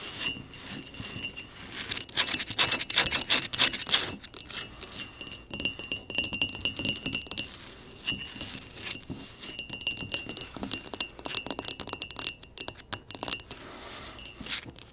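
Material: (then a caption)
Ceramic. Long nails and fingertips tap rapidly and unevenly around the outside of a medium, round, hollow, empty, dark blue glazed ceramic pot resting on a wooden table. The result is a dense stream of bright, clicky taps with very short decay, over a faint sustained ring near 2.7 kHz. The tapping comes in louder bursts early on, then continues more softly.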